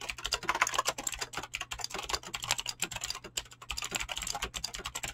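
Fast, continuous typing with fingertips and short nails on a full-size mechanical keyboard with Razer clicky green switches and dyed PBT plastic keycaps, resting on a desk. A dense, rapid stream of sharp, bright clicks with very short decay and little low end runs throughout. A faint steady low hum sits underneath.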